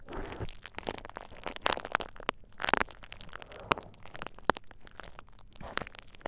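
A thin purple plastic bubble wrap sheet draped over the ears of a dummy-head microphone is squeezed and crinkled by fingertips. The result is dense, irregular crinkling and crackling, broken by sharp, dry snaps that die away instantly.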